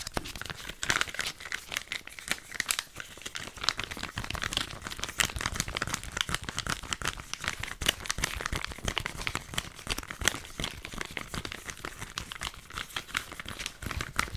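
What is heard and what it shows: A palm-sized, filled flat sheet mask sachet made of printed foil and plastic is crinkled and tapped with long nails. Dense, crisp crinkling runs throughout, broken by quick bright ticks and taps with no ring, and carries little low end.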